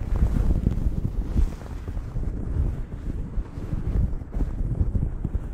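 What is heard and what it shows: Long acrylic nails scratch the surface of a blue cotton terry cloth towel draped over a microphone. The result is a continuous, muffled, low rumbling scratch with dense bass and almost no high or bright content, swelling and easing in uneven strokes.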